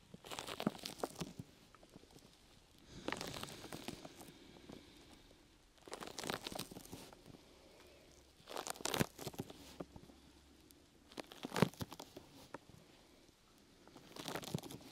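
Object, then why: Open-weave foam rubber grip mat. Long nails scratch and rub one side of a brown open-weave sticky foam rubber grip mat draped over the mic. There are six separate bursts of dry, crackly scratching with a crinkling, tearing texture, broadband from low rumble to bright hiss. Each burst is separated by quiet pauses.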